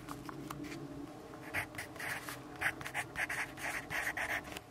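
A yellow graphite pencil writes continuously on a lined paper notepad resting on a wooden desk, its tip scratching the paper. Soft, dry scratching strokes come in an uneven rhythm, with brighter, louder bursts centered around 1.8 kHz over a faint steady background hum.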